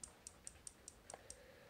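Seven light taps on the domed acrylic crystal of a 1942 Eterna 852 hand-wound watch, each a short, high, dry click that dies almost instantly. The crystal is acrylic, so light scratches will buff out easily.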